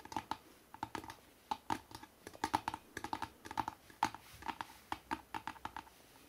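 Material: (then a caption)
Cardboard. Fingertips and nails tap quickly on the front cover of a hardcover book with a city photo, lying flat. A rapid, uneven run of short, dry knocks, each with a hollow tone near 870 Hz, dies away almost at once, with occasional doubled taps between brief pauses.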